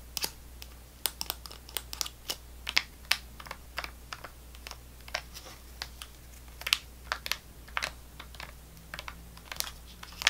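A small, full-looking GoGo Squeez apple sauce pouch of laminated plastic foil with a plastic spout cap is held in one hand and tapped and scratched with long fingernails. It makes a steady run of sharp, bright, crinkly clicks and scrapes that die away almost instantly. A faint low hum sits underneath throughout.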